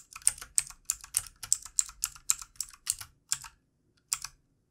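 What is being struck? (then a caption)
Plastic computer keyboard. Fingertips of both hands type on a backlit plastic computer keyboard on a desk, producing quick, bright, clicky taps. The keystrokes come in a steady run of short bursts, then a brief pause before a final few taps.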